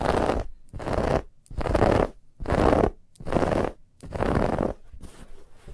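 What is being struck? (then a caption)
Stuffed fabric pillow with woven texture. Long nails scratch vigorously across a soft, stuffed white fabric pillow with a woven textured band. Six distinct bursts of dry, rasping, broadband scratching come in a steady rhythm with brief quiet gaps between them, ending in a fainter, lighter scratching tail.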